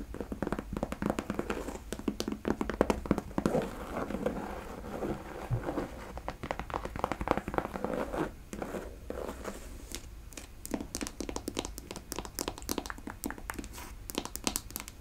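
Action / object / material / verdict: tap / leather cowboy boot / leather / none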